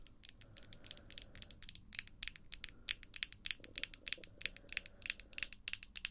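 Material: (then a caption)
Acrylic. The tips of long, glossy acrylic false nails tap against the nails of the other hand. About forty sharp, bright clicks land in an irregular, quick rhythm, each dying away almost instantly over a faint low hum.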